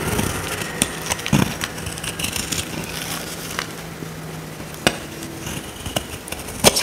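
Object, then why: Bar of soap scraped with a small metal blade. A small metal blade scrapes a dry, solid oval purple soap bar held in the hand, peeling off dry curls. Crisp, crackly scraping bursts with bright sharp clicks rise over a soft, steady low hum.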